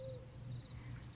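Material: Nothing is struck.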